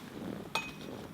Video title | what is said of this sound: 퍼터선택 종합판! 심짱&우부장님이 알려주는 퍼터 선택방법 | 이걸 놓고 치시면 더 맑은 소리가 나 줘